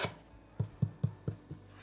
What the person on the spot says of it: Ça sonne cuit.